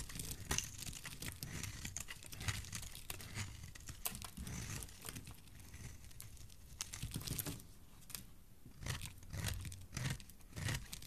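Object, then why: Bar of soap carved with a metal blade. A solid green bar of soap, held in the hand, is carved into chunks with a metal blade. The result is a steady run of crisp, crunchy scraping and crumbling with sharp, bright cuts over a soft low rumble. The many cuts blur together too densely to count.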